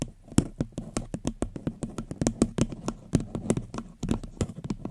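Long fingernails tap rapidly on a small, upside-down, hollow and empty floral paper cup. The taps are short, dry clicks, each with a low hollow thump and a faint bright tick. They come in an uneven, quick stream and die away almost instantly.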